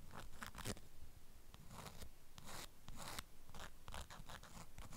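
Long acrylic nails scratch the waxed fabric of a strawberry-print beeswax wrap folded around a flat package. The result is a quiet run of short, dry, crackly scratching bursts with bright hissy edges over a low steady rumble.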